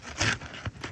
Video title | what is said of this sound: Nick Stommell Repair Attempt (FULL VIDEO) | you can hear how crispy these things are